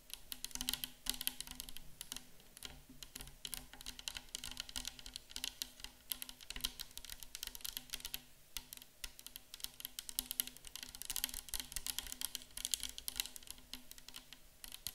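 A 500 ml clear plastic bottle of micellar water, hollow and nearly full of liquid, is tapped rapidly on the front and sides with long acrylic nails of both hands. The result is a dense, continuous stream of short, bright, clicky taps that die away almost instantly, over a faint steady low hum.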